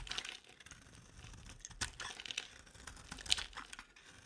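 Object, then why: Soap bar shaved with a metal blade. A metal box-cutter blade shaves an oval, palm-sized, solid yellow bar of dry soap held in one hand into long crumbly curls. Quiet, dry, bright scraping and crackling sounds with short sharp clicks come in irregular bursts and stop without ringing.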